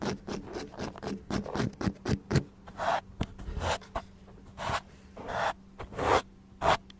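Fingertips and nails tap and scratch the outer side of a small, speckled beige ceramic pot, hollow and filled with soil and an artificial lavender plant, close to the microphone. Quick, dry taps with almost no ring come first, then longer, bright, raspy scratching strokes mixed with more taps, over a faint steady low hum.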